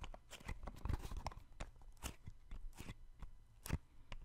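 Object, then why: Small cardboard box. A small, hollow yellow cardboard box is held in one hand near the microphone and tapped and patted with the fingertips of the other hand. The result is a quick run of dull, low, hollow knocks with brief broadband clicks. Each hit dies away almost at once.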